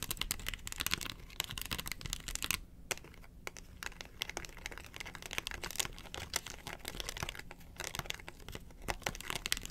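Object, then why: Plastic box lid. Long nails scratch across the molded ridges of a round, hollow yellow plastic box lid. The sound is a steady stream of bright, crackly scratching made of many rapid, dry clicks that stop instantly, with brief quieter gaps in the middle.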